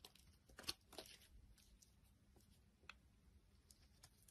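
A utility knife blade shaves thin strips from the surface of a solid rectangular tan-brown soap bar held in the palm. The scraping is quiet and bright, with crisp, crackly tearing sounds. Short sharp ticks stand out near the start and again toward the end.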